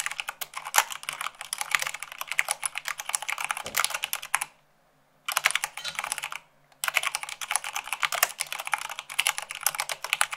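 Long acrylic nails type fast, at about 98 words per minute, on a full-size mechanical keyboard with white plastic keycaps on a black base. Dense, bright plastic clicks and taps rattle steadily, with two brief silent pauses near the middle before the typing resumes.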